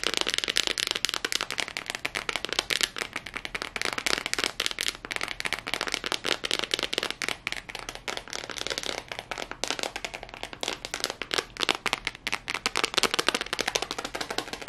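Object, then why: Tablet with glass screen in a rubber case. Long fingernails tap and scratch quickly on the back and black glass screen of a handheld tablet in a yellow rubber protective case, held in both hands. A dense, continuous stream of sharp, bright clicks and scratchy rasps, dry with almost no low end and no ring after each tap.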